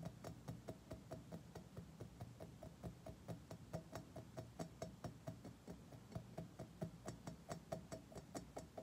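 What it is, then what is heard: Chrome-plated metal object. Fingertips and short nails of several fingers rapidly tap a mirror-polished, curved chrome-plated metal object resting on carpet. The result is a quick, uneven run of short, bright metallic ticks with a faint ring around 650 Hz over a low background rumble.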